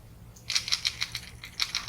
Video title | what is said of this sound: Temu Fishing | big old rattle in there